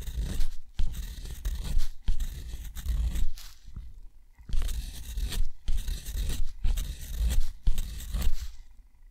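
A steel dip-pen nib scratches rows of small circles across a sheet of thick, rough, white textured watercolor paper. Dry, gritty scraping comes in rapid bursts separated by brief pauses, with a bright hissy texture over a low rumble.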